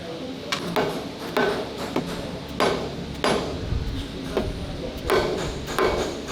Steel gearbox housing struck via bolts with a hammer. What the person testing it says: Hear that hollow sound?